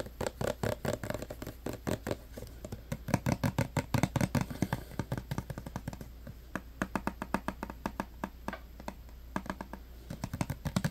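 Fingertips and nails tap rapidly on a clear plastic hand sanitizer bottle full of green gel, striking both its body and its green pump cap as it is held in the hands. The result is a quick, uneven stream of short, dry plastic clicks and taps with almost no ring, over a steady low hum.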